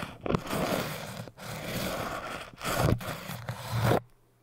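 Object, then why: Hard foam cylinder. A metal needle and a crochet hook, held by the fingertips, are scraped along the surface of a tall orange hard foam cylinder. Three long, dense, scratchy passes with a low rumbling body are separated by brief pauses, each swelling louder near its end. The scraping stops abruptly, leaving near silence.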